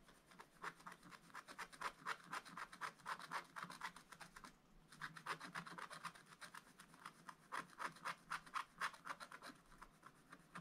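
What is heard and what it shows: A wooden stylus scratches fill strokes on a bunny figure in a spiral-bound scratch-art book, its black coating over a rainbow layer, while the left hand holds the book. Quiet, dry rasping strokes repeat quickly at about four per second, with a midrange scratchy tone. There is a brief pause just before the five-second mark.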